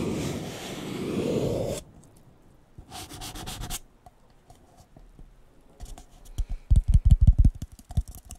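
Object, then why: Disposable paper cup. A blue disposable paper cup, hollow and empty, is held sideways and tapped rapidly on its side and bottom with fingertips and nails. It opens with nearly two seconds of steady, hissy scraping, then a short burst of quick, bright ticking. A run of rapid, hollow, low thumps follows, each dying away almost instantly.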